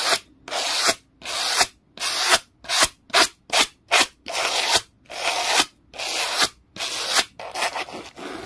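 An orange textured tool rapidly brushes a black plastic clear-holder document folder resting on a towel, rubbing back and forth. The result is a quick series of bright, hissy scraping strokes with brief gaps between them and almost no low end.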